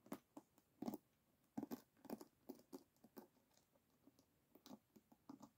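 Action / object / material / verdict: flick / wooden paddle hairbrush with wooden pins in a rubber cushion / wood / none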